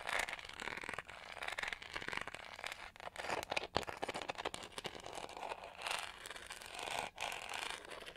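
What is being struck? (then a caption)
Plastic detangling hair brush. Long nails scratch the bristles and then the textured back of a pink-gold textured plastic detangling hair brush held flat. The result is a quiet, dense, crackly rasping with bright, papery texture and almost no low end, swelling and dipping in short strokes over the clip.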